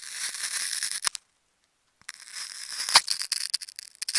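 A thin metal needle tool is drawn across and into a hand-sized, solid ball wound from many layers of dark green and black plastic tape, held in the fingers, cutting and scratching through the tape layers. Bright, crackly slicing and peeling noise runs for about a second, drops to silence for nearly a second, then returns with sharper scratches and snaps toward the end.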